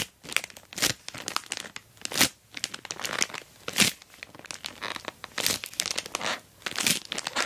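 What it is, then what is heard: Plastic mailer bag over a box. An orange glossy plastic Temu mailer bag wrapped over a rectangular box is scratched by long black nails and rubbed and pressed by fingertips. The result is a steady run of bright, dry crinkling and crackling bursts with no low-end weight.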